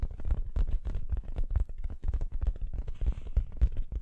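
An orange, soft, stuffed fabric throw pillow printed with the text "hey there pumpkin" is held behind the microphone and scratched with long acrylic nails. The result is a dense run of quick, muffled scratching strokes that land as deep, rumbling thumps, with almost all of the energy in the low end and little bright detail.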